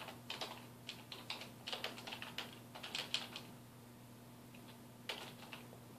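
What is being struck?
Plastic computer keyboard.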